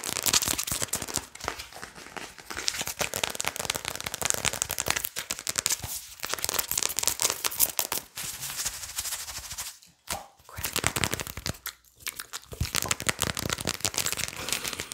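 A plastic Adobo seasoning shaker bottle with a red cap is turned upside down and handled while fingernails tap and scratch quickly on it, and its contents are possibly shaken. The sound is a dense, bright stream of sharp clicks and scratchy rattles, with brief pauses near the end.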